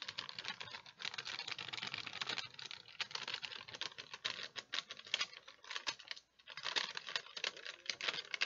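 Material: Wax paper.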